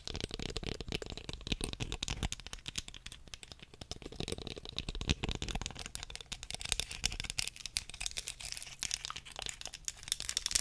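Long fingernails tap and scratch the body and teeth of a small, solid wooden comb held horizontally. A dense, continuous run of quick, dry clicks and crackly scraping fills the clip, bright and sharp with almost no ring, over a faint low hum.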